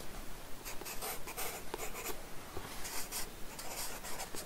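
A wooden pencil scratches outline strokes of a face profile onto a blank paper sketchbook page resting on a wooden desk. Short, dry scratching strokes repeat at an uneven pace, each a brief burst of bright, papery hiss over a low, quiet background.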